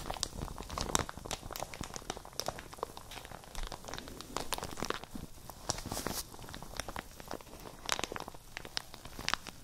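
A light, empty printed plastic shower cap is held beside the microphones and squeezed and crinkled with the fingers and long nails. It gives a dense, steady stream of sharp, bright crackles and crinkles that die away almost instantly, with louder bursts scattered throughout.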